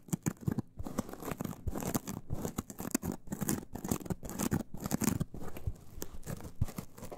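Long acrylic nails scratch a hand-sized, porous yellow synthetic foam sponge with large holes, soft and solid, held in both hands. The result is a dense run of quick, rough, crackly scratches that rise and fall in bursts, with most of the weight in the low-mid range and little brightness.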